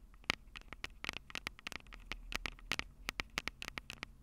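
Long purple nails rapidly tap the two small metal-mesh condenser capsules on top of a black plastic Tascam DR-05 handheld recorder, the same recorder capturing the sound. About twenty short, dry, clicky taps come in quick bursts over a faint hiss, with a bright scratchy edge centred near 2.2 kHz and almost no ring.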